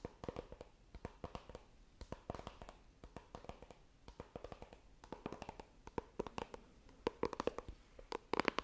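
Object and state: Cardboard phone box tapped with fingernails.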